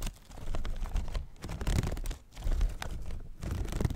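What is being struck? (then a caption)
Paper and bamboo folding fan. A small handheld folding fan with a paper leaf and bamboo ribs is flicked open and closed and handled with fingers close to the mic. It makes dense, low, papery rustles and scratchy swishes in uneven bursts, with brief quiet dips between them.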